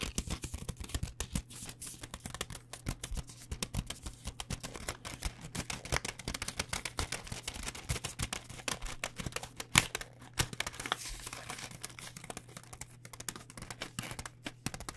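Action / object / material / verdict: tap / plastic noodle pouch / plastic film / none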